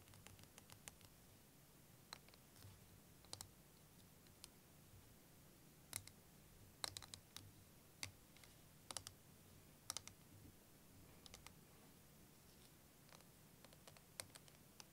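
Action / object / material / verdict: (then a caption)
tap / clear plastic liquid timer / plastic / none. A wavy clear plastic liquid timer filled with green liquid is held in both hands while long nails tap and click on its clear plastic. Sharp, bright clicks come in irregular, sporadic bursts and die away instantly, over a quiet, steady low hum.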